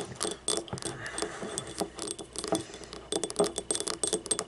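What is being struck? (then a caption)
Glazed ceramic ramekin. Long painted nails tap and scratch the labelled base and ribbed side of a small, hollow, empty yellow glazed ceramic ramekin paint cup lying on its side. Quick, bright clicking taps with a short hollow ring around 400 Hz mix with dry scratchy rasps, coming in irregular clusters with brief pauses.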